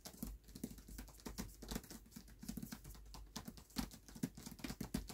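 Fingertips patter and tap rapidly across the paper dust jacket of a closed hardcover book resting on a black cloth. The result is a quiet, continuous stream of soft, dull, papery taps with a low thump and faint crinkly edges, each dying away almost instantly.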